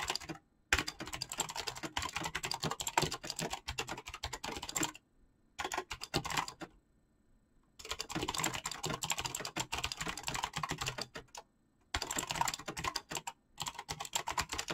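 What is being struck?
Mechanical keyboard with PBT plastic keycaps.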